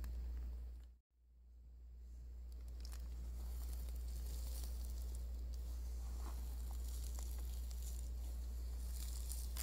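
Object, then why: Cotton drawstring pouch stuffed with dried lavender. A small cream cotton drawstring sachet embroidered with lavender and stuffed with dried lavender is held in both hands and scratched and rubbed with fingertips and thumbnails over a crinkly foil sheet. Soft, steady scratching and faint crinkling ride over a constant low hum, with a brief drop to near silence about one second in.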